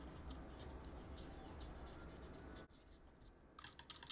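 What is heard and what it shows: Gloved fingertips press and clean between the plastic keycaps of a backlit mechanical keyboard. A low, rumbling background with faint soft taps and scratches runs until it cuts off abruptly and drops quieter, then a quick cluster of bright, sharp key clicks ends the clip.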